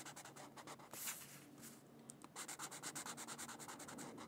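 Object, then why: Felt-tip marker on a paper sheet. A Crayola felt-tip marker rubs back and forth over the center of a thin white paper mandala coloring sheet lying on a book. It makes a soft, bright, scratchy hiss in quick repeated strokes, with a short, busier burst near the one-second mark and a steady, even rhythm of strokes toward the end.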